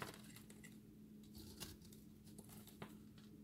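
A fist-sized solid ball of pressed dry soap scraps, with a green crust and an orange-yellow core, is held in one hand and scraped and shaved with a utility-knife blade. Quiet, gritty scraping is broken by short, bright crumbly ticks and clicks, over a steady low hum. Dry soap crumbles away from the ball.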